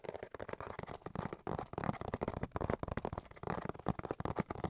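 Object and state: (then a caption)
Cardboard box tapped and scratched. A cardboard box is tapped and scratched in a quick, dense run of dull, dry taps and scraping with little ring. The sound sits mostly in the low and mid range with hardly any high end, and the taps blur together too closely to count.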